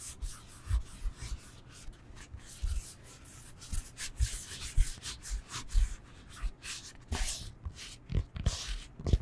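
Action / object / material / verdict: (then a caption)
scrape / foam yoga block / foam / none. A solid rectangular foam yoga block is held in the hands and scratched and rubbed with long nails. Quick bursts of bright, dry scratching and rasping come and go over soft, low thumps from the hands on the block, with no ringing afterward.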